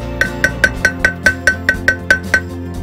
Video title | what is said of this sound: Rear Wheel Bearing Replacement - Yamaha FZ1 | There's a pitch change. That tells me that it's now sat where it needs to be.